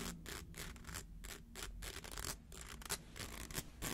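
A rainbow-colored plastic slinky coil toy, held in the hands, has its coil edges scratched by fingernails. The result is a quiet, uneven series of dry, raspy scratching strokes, each a short burst of bright hiss over a steady low hum.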